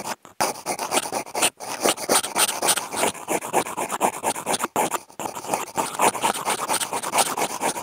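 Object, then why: Corrugated cardboard sheet. Two wooden toothpicks with contact mics clipped on have their tips drawn across a large, thin, flat brown corrugated cardboard sheet. The result is a dense run of quick, raspy scratching strokes with a papery midrange and bright edges, broken by a few brief pauses.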